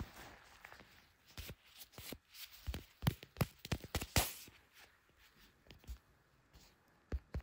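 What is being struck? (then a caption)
Smartphone in clear plastic case. A handheld blue smartphone in a clear plastic case, which is also doing the recording, is tapped on its back and case by black leather-gloved fingertips. Sharp, dry taps with almost no ring come in uneven bursts, louder clusters in the middle, over a faint steady hiss. A high whine runs steadily throughout.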